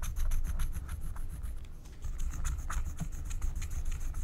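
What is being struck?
Wax-coated paper scratch-art card.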